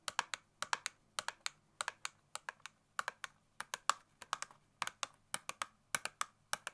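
Long nail tips tap rapidly on the surface of a small, hollow cardboard Scotch tape box held in the hands. About 34 sharp, dry, bright clicks come in quick uneven bursts, each dying instantly with no ring, like fast typing on a keyboard.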